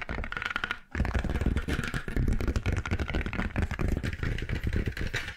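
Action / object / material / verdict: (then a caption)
scrape / faux leather notebook cover / faux leather / none. Long nails tap and scratch the surface of a dark grey stitched faux leather notebook cover, held flat and upright near the mic. Dense, rapid, low-heavy tapping and scratching continues throughout, pausing briefly just before the one-second mark before resuming at full level.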